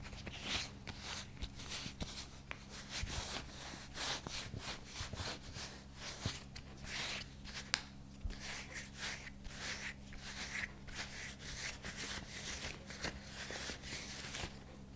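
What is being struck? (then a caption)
Thin rubber dishwashing glove. Bare fingertips slowly rub and slide along the palm and cuff of a thin, flexible light green rubber dishwashing glove worn on one hand. The result is a continuous bright, soft rubbing and squeaking texture with occasional small clicks, over a steady low hum.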